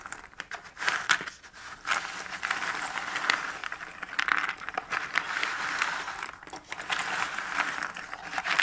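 Fingertips with painted nails gather, stir and scratch through a heap of small cardboard jigsaw puzzle pieces in a shallow cardboard box lid. The result is a steady, dry rustling and crinkling with scattered sharp clicks and brief swells, bright and mid-pitched with almost no low end.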